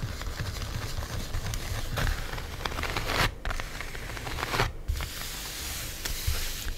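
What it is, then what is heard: Plastic-wrapped styrofoam container. A flat black styrofoam cheese container wrapped in plastic film is tapped along its front edge and top with long nails, giving dense crinkly, crackling taps with brief rustling scratches. The sound is continuous and busy, with a low, boomy base and brighter crackle on top.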